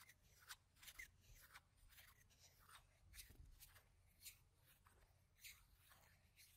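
Small stacks of solid round plastic game gem tokens are held in both hands while fingers shuffle them and click them together. The sound is a quiet series of short, bright clicks over a faint low rumble, with several distinct sharper clacks standing out.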